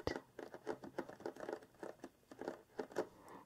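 Long nails scratch and tap quickly across the front of a large, flat, printed cardboard craft-kit box sitting on a table, the box hollow with contents inside. The result is a dry, papery patter of short, hollow taps and scrapes. It ends with a soft, muffled rustle as both hands grip the box edges and lift it.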